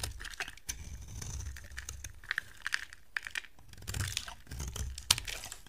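A utility knife blade carves a solid white soap bar held in the hand, shaving off flakes. Dry, crisp scraping and crunching cuts come in quick bursts, with sharp bright clicks and crinkly flaking over a soft low rumble. Each cut stops abruptly with no ring.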